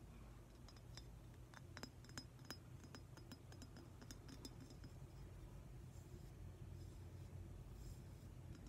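A hand-sized, likely hollow, glossy metallic-green glazed ceramic octopus figurine is tapped with fingernails. Quiet, short, bright clicks sound over a steady low rumble, each dying away almost at once.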